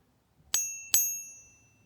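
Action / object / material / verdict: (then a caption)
flick / silver bar / silver / real. A real 999 silver bar is pinged twice, each strike giving a bright, bell-like ring with clear high tones that fades smoothly over under a second. The long, clean sustain is the sound of genuine silver.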